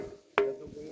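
A rock slab resonant musical stone (gaval stone), used in ancient times as a musical instrument and as an alarm signal in times of danger, is struck once. It gives a sharp percussive hit followed by a ringing tone around 400 Hz that decays over a fraction of a second.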